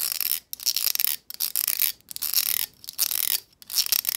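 Long almond-shaped acrylic nails strum and tap along the row of stiff plastic bristles on a black plastic hair brush with a long handle and a hollow vented head. The result is a dry, bright, crackling rattle of rapid clicks with no low end, heard in repeated bursts separated by brief silences.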